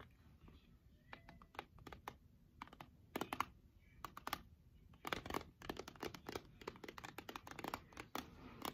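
Long nails tap the sides of a clear plastic jar full of embroidery floss skeins, held in both hands. Quiet, crisp clicking taps come in irregular bursts and clusters, each dying away almost instantly. A faint hiss sits underneath.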